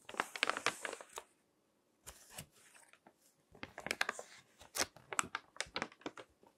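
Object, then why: Paper magazine pages. Fingertips turn and crinkle the pages of a crinkled paper magazine lying on a table. The result is a string of sharp, bright crackles and rustles, with a brief silent pause after the first second before the crinkling resumes.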